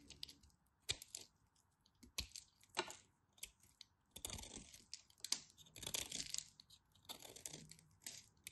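A solid orange bar of soap, held in hands with long white nails, has its crosshatch-scored surface scraped and cut with a small utility knife blade. Quiet, bright, crisp clicks and sharp snaps alternate with longer crackly scraping passes, each sound stopping almost instantly with no ring.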